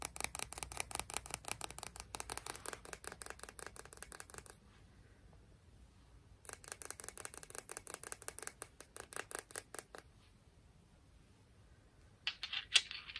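A speckled "confetti" sea rock is tapped and scratched in two bursts of fast, bright, crisp clicks, separated by a short quiet pause. A few louder, sharper taps follow near the end.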